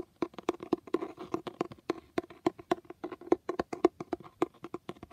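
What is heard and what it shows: A fingertip or nail taps and scratches across the embossed foil lettering on a blue cloth-covered hardcover book. About thirty quick, dry, mid-pitched taps come in an uneven rhythm, each dying away almost at once, with soft scratching between them.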